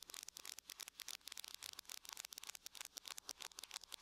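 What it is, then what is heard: Aluminum laptop lid. Long nails tap rapidly with both hands on the lid of a closed silver aluminum laptop. The result is a quiet, steady patter of sharp, bright clicks that stop almost instantly, with no low-end body.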